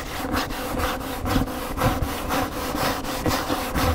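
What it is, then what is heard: Hardcover book scratched with fingernails. Fingernails scratch an upright large hardcover paper cookbook, first across the front cover near the spine and then over the glossy back cover. The result is a steady, dry rasping scrape in quick back-and-forth strokes, about two per second, with a low papery body and bright hiss on top.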